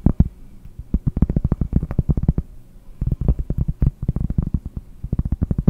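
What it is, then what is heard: Cork board tapped. A round, solid cork board held close to the microphone is tapped with long painted nails. Quick bursts of soft, dull, low-pitched taps come in rapid clusters with brief pauses between them, each tap dying away almost instantly with no ring.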